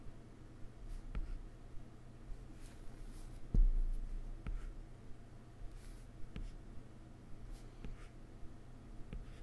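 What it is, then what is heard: Stylus tapping on a glass tablet screen. A plastic stylus tip makes short dash strokes on a solid iPad glass touchscreen, producing soft, sharp taps and brief scratches. Each one is quick and fades fast over a steady low hum, with one louder tap near the middle.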